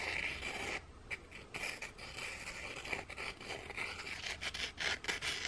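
Two small, flat, scalloped ginger thin biscuits, hard and solid, are rubbed together by hand, one scraped against the textured underside of the other. The result is a dry, bright, raspy scratching that continues almost without a break, with a brief quieter lull just before the one-second mark and small swells in the strokes.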